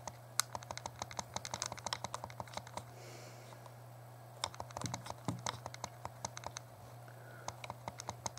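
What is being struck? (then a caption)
Plastic handheld game console buttons. Thumbs rapidly press and tap the plastic buttons of a small, hollow, translucent purple plastic Game Boy Color held in both hands while a game plays. A fast run of short, dry, bright clicks and taps comes in bursts, with a brief lull in the middle, over a steady low hum.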